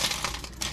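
Dehydrated lime slices are handled, giving a crisp, bright crunching and clinking with several quick brittle clicks. The slices are fully dried and crisp, as intended.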